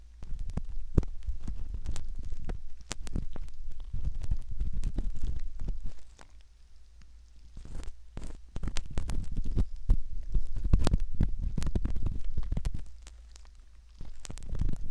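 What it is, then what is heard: Silicone ear model scraped with a metal pick. A curved metal ear pick scratches the concha and canal opening of a soft silicone ear model in close-up. The result is dense, irregular crackling and scraping with sharp ticks and a heavy low rumble. The sound thins to quieter, sparser scratches around six to eight seconds and again near the end.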